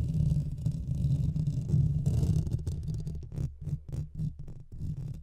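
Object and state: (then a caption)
Metal mesh microphone grille being scratched. Both hands scratch the sides of a Blue Yeti microphone's hollow metal mesh grille with their nails. The result is a deep, muffled, rumbling scrape that sits almost entirely in the low end. It runs continuously at first, then breaks into quick, uneven bursts of scratching toward the end.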